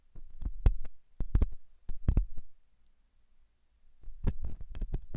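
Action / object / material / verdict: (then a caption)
scrape / silicone dummy ear scraped with a metal pick / silicone / none. A thin hooked metal dental tool scratches inside the ear canal of a soft, solid-looking white silicone dummy ear on a binaural microphone. Close, muffled scraping thumps come through as deep, booming bursts with almost no high end. They pause briefly in the middle before resuming.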